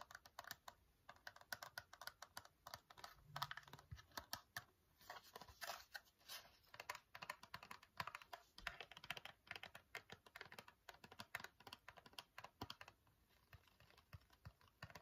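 Fingernails tap rapidly on the front and sides of a small, hollow Nair facial wax strips cardboard box, producing a steady stream of crisp, dry, clicky taps. Each tap dies away almost instantly, with a papery midrange knock, a bright edge and very little low end. The tapping continues at an uneven pace throughout, with brief lighter stretches.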